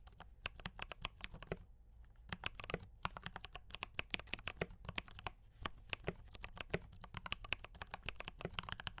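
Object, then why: Mechanical keyboard with plastic keycaps. Fast fingertip typing on a mechanical keyboard with cream and red plastic keycaps and brown switches, producing a dense stream of short, crisp clacks with bright tops and a soft low thump beneath. A brief pause just before 2 seconds and around 3 seconds breaks up the rapid keystrokes, each of which dies away almost instantly.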